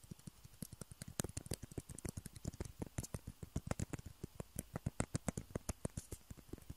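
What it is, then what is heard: Plastic ping pong balls. Fingertips and nails tap and scratch two small hollow white plastic table tennis balls, one held in each hand. There is a quiet, steady run of about 38 quick, dry taps, each with a soft hollow low knock and a bright clicky edge that dies away almost instantly.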